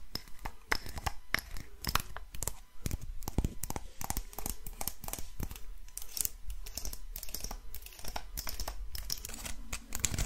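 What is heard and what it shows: A small, hollow, dark brown wooden box, held in both hands close to the mic, is tapped and scratched with long nails and fingertips. Dense, irregular clicks and scratchy rasps follow one another quickly, with short dry taps and a low hollow body under brighter scraping. Each sound dies away almost at once.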